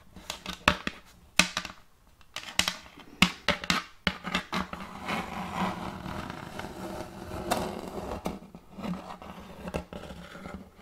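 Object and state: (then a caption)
Wooden plate. A large round wooden plate, held upright, is tapped and scratched by the other hand's long painted acrylic nails. Quick, sharp, dry clicks with almost no ring open the clip. A stretch of continuous bright, rasping scratching follows in the middle, and then lighter scattered taps and scratches close it out.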